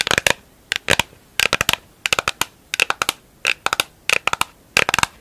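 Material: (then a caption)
Plastic. Long acrylic nails tap and scratch the inside and outside of a round, hollow, empty pink plastic lid. The sound comes in eight quick bursts of sharp, bright clicks that stop almost instantly, with little low end and a crisp, crackly edge.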